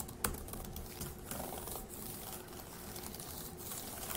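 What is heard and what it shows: Fingertips of one hand tap the plastic keys of a dark grey laptop keyboard, producing quiet, soft, clicky typing. One sharper click stands out near the start, followed by a steady run of light, short taps over a faint background hum.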